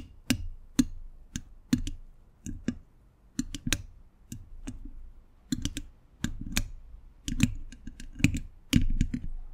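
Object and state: Hollow metal microphone grille.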